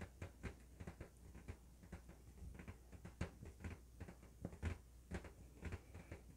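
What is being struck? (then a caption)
Inflated latex balloon. An inflated, hollow blue LED-lit latex balloon is held and turned in the hands while fingertips and nails tap and scratch its surface. The result is a quiet, irregular series of short, dull, low thuds with faint scratchy rubbing between them, each tap dying away almost at once.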